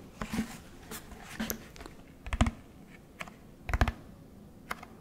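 Fingertips tap the body of a large orange plastic Tide detergent jug held beside the microphone. About a dozen short, dull, hollow taps come at an irregular pace, each dying away almost at once, with some louder double knocks among them.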